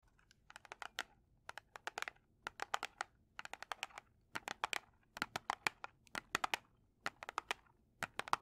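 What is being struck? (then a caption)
Cardboard matchbox. A large red cardboard strike-on-box kitchen matchbox, closed and full of matches, is held in both hands and tapped and scratched with long painted nails. Quick clusters of some forty crisp, dry clicks and light scrapes come in separate bursts, bright and papery, with almost no low end. Each tap dies away almost instantly into quiet.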